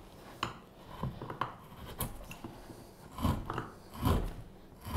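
A straight carving knife with a blue handle scrapes and carves the surface of a solid, light-coloured wooden spoon blank held against the table. Irregular, dull rasping strokes come about once a second, each a short scrape with a faint bright edge over a low, woody body. The strokes fade almost instantly, with quiet pauses between them.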